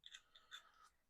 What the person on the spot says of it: Give it a shake. So, there is some battery rattle in there,